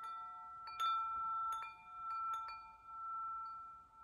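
A hollow metal tube wind chime is held up by its string while a hand shakes it and strikes the tubes. Repeated clinks set off bright, overlapping tones that ring steadily around 1.3 kHz, each strike layering onto a sustained shimmer that slowly fades between hits.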